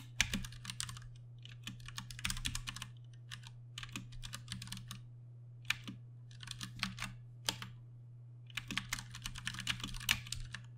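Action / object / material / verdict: tap / plastic mechanical keyboard / plastic / none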